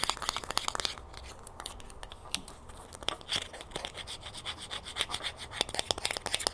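Long fingernails scratch and tap the ridged edge of a small, hollow green plastic screw cap held in the fingers after it is removed from a jug. The result is a fast, dense run of bright, dry clicks and raspy scratches with no ring after each one. Louder bursts of tapping come at the start and again toward the end.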